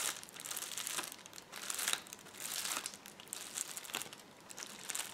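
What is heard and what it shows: Fingertips and nails scratch and press the bubbles on a rolled, clear plastic bubble wrap roll. The result is a quiet, bright crinkling and crackling, with irregular bursts of scratchy texture and almost no low end.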